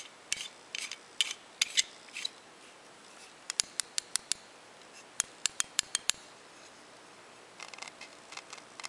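A hand-sized solid metal climbing carabiner with a knurled screw-lock sleeve is held in both hands while fingertips twist the threaded locking sleeve and work the gate. The result is bright, dry scraping and ratcheting metal clicks in short bursts, some sharp ticks and some longer scrapes, with a softer patch of rubbing near the end.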